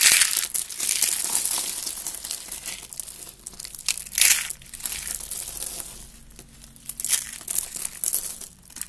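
A hand with red nails squeezes and crushes rolled orange, yellow and white curls of dry soap, thin brittle shavings breaking into flakes. A dense, bright crackling and crunching comes in uneven bursts, louder surges near the start and middle.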